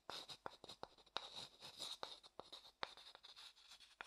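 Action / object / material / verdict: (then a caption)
scrape / wooden bowl stirred with a wooden stick / wood / none. A wooden stick scrapes and stirs the inside of a medium, hollow, empty, light wooden bowl held upright. The result is a quiet, dry, bright scratching made of quick, separate strokes with almost no low end and no ring after each one.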